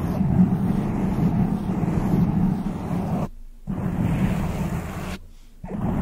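Long decorated acrylic nails scratch and rub a soft, porous black foam windscreen over a large microphone. The sound is a dense, muffled, low rumbling crackle with almost nothing bright in it. It cuts out twice into near silence before resuming.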